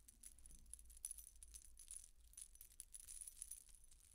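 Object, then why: Metal coin-disc necklace. A silver-coloured metal coin-disc statement necklace is held up in the hands while fingers and nails shake and rattle its thin dangling metal discs and chains. The result is a quiet, continuous, bright jingling of many quick, tinkling clinks over a low steady hum.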